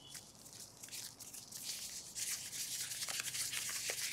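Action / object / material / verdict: scrape / latex gloves on hands / latex / none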